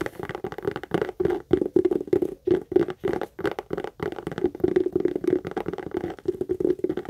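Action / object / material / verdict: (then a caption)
tap / pebbled leather handbag / leather / none. Long acrylic nails rapidly tap and scratch the lower front panel of a hollow, medium brown pebbled-leather Michael Kors tote. The result is a quick, dense run of dry, short knocks and scratchy rustles with a mid-range tone around 370 Hz, very little low end and no high brightness.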